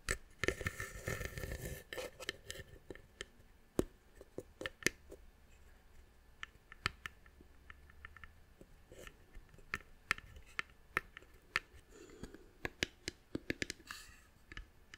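A small, hollow, hand-carved brown wooden box held in the hand is tapped and scratched with long nails on its carved lid and sides. A bright scratching rustle opens the clip, followed by many short, dry, clicking taps that die away instantly, with soft scraping between them in quiet surroundings.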